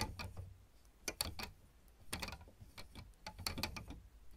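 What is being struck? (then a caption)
Plastic piano keyboard keys. Long red almond-shaped nails and fingertips of both hands tap and click on the solid black and white plastic keys of a piano or electronic keyboard. The result is a run of quick, dry, bright clicks with a soft low thump beneath, in uneven, clustered bursts.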